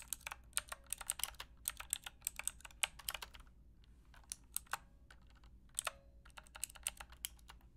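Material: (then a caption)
Plastic. Long painted nails and fingertips type on a full-size black Aukey mechanical keyboard with square plastic keycaps and a hollow plastic case, resting on a fluffy rug. Quiet, bright, clacky keystrokes come in quick bursts, with a short lull midway. Each tap dies away almost instantly.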